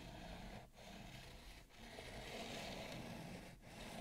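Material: Bamboo.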